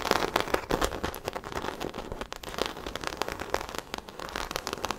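A small black croc-embossed faux leather shoulder bag, held beside the mic, is scratched across its crocodile-textured surface with long acrylic nails. The result is a dense, continuous crackle of quick, dry scratching bursts with bright, crisp edges and almost no ring after each stroke.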